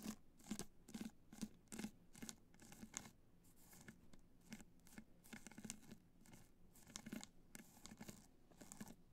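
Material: Rhinestones.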